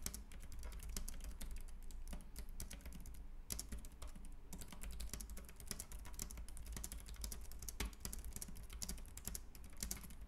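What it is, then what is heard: Plastic compact keyboard being typed on. Both hands type rapidly with their fingertips on a white, compact plastic Logitech K380 keyboard with round keys. The result is a dense, continuous stream of short, bright key clicks with very little ring, over a steady low hum.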